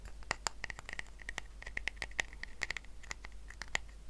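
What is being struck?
Woven rattan coaster.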